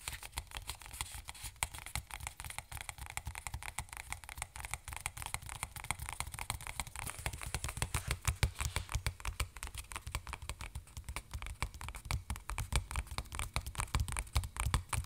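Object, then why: Plastic squeeze bottle of hand lotion. A hand-sized white plastic squeeze bottle of Aveeno hand lotion with a green cap and label, hollow, is held in one hand and tapped rapidly with the fingertips of the other. A steady stream of quick, dry, hollow taps is heard, each one short and soft with a low thump under a bright click, and it grows slightly denser and louder toward the end.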